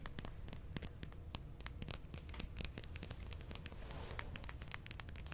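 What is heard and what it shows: A wooden stylus, held in fingers with long painted nails, scratches the coating off a flat black-coated scratch-art card sheet with a Care Bears design lying on a table. The result is a steady stream of quick, dry scratching and crinkly crackles with sharp bright ticks over a soft low rumble.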